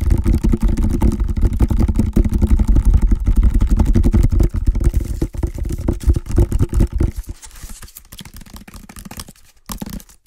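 Fingertips scratch and tap an empty, medium hexagonal woven water hyacinth basket. A dense, rapid run of dry, crackly scrapes and taps is heavy in low, thumpy tones. It stays fairly steady for about seven seconds, then thins out and grows quieter, with a brief louder flurry near the end.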